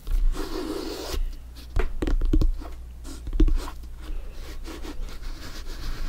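Bare fingertips rub and scratch the top and sides of a full-size, inflated, hollow soccer ball with stitched synthetic leather panels. The result is a dull, rasping scrape over a deep, boomy low rumble, broken by a few short, hollow taps and swells that fade quickly.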